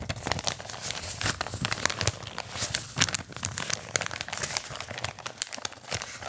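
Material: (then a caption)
Paper. A flat, empty brown kraft paper bag is crumpled and rubbed with fingertips close to the microphone. Dense, bright crinkling and crackling comes in quick overlapping bursts, with soft low rustle beneath and no ring after each crackle.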